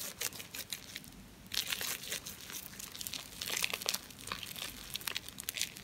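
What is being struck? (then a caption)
Ball of compacted soap flakes. A solid, hand-sized ball of compacted soap flakes, covered in lather, is kneaded and rubbed with the palms and fingers of both hands. The result is a steady stream of bright, wet crackling and squelching crinkles with short sharp bursts and almost no low end.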